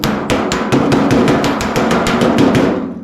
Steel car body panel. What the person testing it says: you're off when it sounds hollow like that